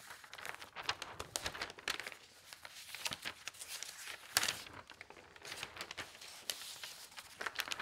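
Fingertips with long nails lift, turn and smooth the thin newsprint pages of a large broadsheet paper newspaper lying open on a table. The result is a steady, bright rustling and crinkling with almost no low end, with a sharper, louder crackle of paper around the middle.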